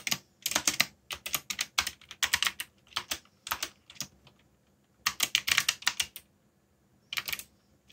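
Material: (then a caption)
Plastic. Fingertips, one of them bandaged, press and tap the hollow keys of a backlit black plastic mechanical keyboard with Korean keycaps while typing. Quick bursts of bright, sharp plastic clacks from the keys on their switches die away almost instantly. Two brief pauses break the typing before it resumes.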